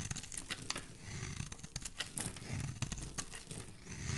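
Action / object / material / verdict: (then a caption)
scrape / bar of soap shaved with a metal blade / soap / none. A solid oval green soap bar held in the hand is carved and shaved with a metal utility blade. Quick, dry scraping and crisp shaving strokes are heard, with bright crackly detail over a soft low rumble. The cuts follow one another closely and do not separate into a clear count.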